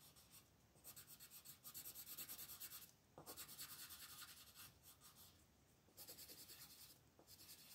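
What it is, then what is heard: Paper coloring page under pencil shading. A red colored pencil shades a thin paper coloring sheet lying flat on a table with steady back-and-forth strokes. A bright, scratchy rubbing comes in quick rhythmic bursts, broken by brief quieter pauses as the pencil lifts.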